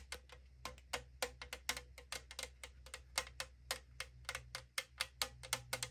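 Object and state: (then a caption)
Aluminum drink can tapped with fingernails. Long acrylic nails tap rapidly on the side of a tall AriZona aluminum can held in hand. About 28 quick, bright, clicky taps come in an uneven rhythm, each dying out almost at once with a faint hollow metallic ring. A steady low hum runs underneath.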